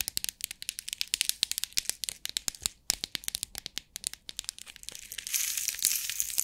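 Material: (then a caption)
Plastic. A clear plastic box with compartments of rhinestones is held in the hands while long nails tap and scratch its lid, giving dozens of quick, sharp, bright clicks with almost no low end. Near the end the box is shaken, and the clicks blur into a denser, hissy rattle of stones.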